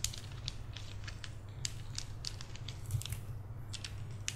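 A bracelet of round, solid, reddish-brown wooden beads on a cord is held between both hands, stretched and rolled so the beads click against each other. Short, dry, bright clicks come in irregular bursts over a steady low hum.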